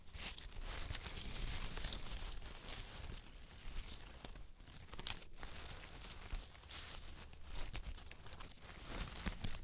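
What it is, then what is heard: Dry autumn leaves crumpled. A handful of dry yellow-brown autumn leaves on a white knit blanket is held and crumpled by fingers and nails. Close, quiet crinkling and tearing crackle steadily for the whole clip, with bright, brittle snaps over a low, soft rumble.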